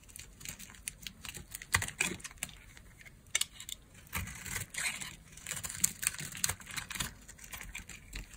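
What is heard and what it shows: A solid green bar of dry soap is held in the hand and shaved into curls with a green-handled craft blade. Many short, dry, bright scraping and crackling cuts follow one another unevenly, with almost no ring after each. The result is a crisp, crinkly shaving texture mostly in the high range.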